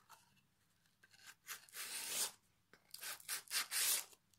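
A solid pine plank fitted with metal hooks rests in the lap while its edge and face are rubbed with a small piece of sandpaper held in the fingertips. The sanding comes as a series of short, bright, scratchy rasping strokes, some quick and some longer and louder, with quiet gaps between them.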